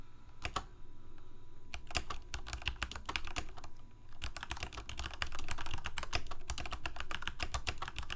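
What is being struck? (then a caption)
Plastic mechanical keyboard. Fingertips of both hands type continuously on a full-size black plastic Corsair K68 gaming keyboard with backlit keycaps, Cherry MX Red switches and a hollow plastic case. Rapid, uneven, sharp clacks run throughout over a low hum, with a brief pause near the four-second mark before the typing resumes.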